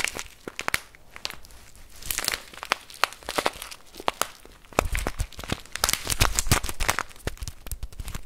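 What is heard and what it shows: A full plastic bag of rice is held and squeezed with the fingertips, crinkling the plastic. Many quick, sharp crackles and crinkles come in irregular bursts, bright and dry with almost no ring. Denser stretches of rustling mix with soft low thumps.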